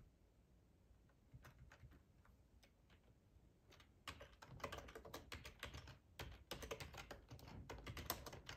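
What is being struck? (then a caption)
Plastic computer keyboard. Short-nailed fingertips of both hands type on a black plastic split ergonomic keyboard with a hollow body and keycaps, lying on a plaid tablecloth. Sparse, quiet key taps in the first few seconds give way to rapid, irregular bursts of crisp, bright clicks. Each click ends almost at once.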